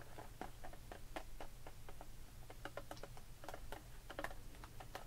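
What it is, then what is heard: Plastic blister pack of pearl beads. Long pink acrylic nails on both hands tap and scratch a flat clear plastic blister package with cardboard backing, full of loose faux pearl beads, lying on a wooden table. Quick, light plastic clicks and ticks with a mid-pitched tone come in an irregular, typing-like patter over a steady low hum. Each click is short and dry, fading almost at once.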